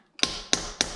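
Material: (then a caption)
Steel. A socket is tapped against a fully seated freeze plug in an Audi engine block, giving three separate sharp, bright metallic taps with brief ringing tails. The plug is fully seated and sounds solid.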